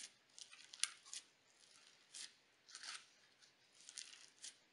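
A mound of pale pink crunchy sequin slime on a white table is pressed and poked with fingertips and nails. Short, bright crackling pops come in scattered bursts over quiet pauses, with almost no low end.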